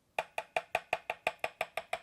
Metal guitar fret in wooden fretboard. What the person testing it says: a nice hard solid Clear Tone when I tap on the Fret